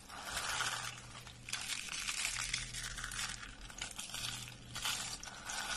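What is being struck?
Soap shavings rolled into curls.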